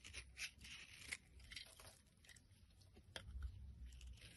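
A blade scrapes the edge of a solid pink bar of soap held in the palm, shaving off flakes that fall onto a pile. The sound is a series of crisp, bright scratching and shaving strokes with a few sharper clicks, over a quiet low rumble.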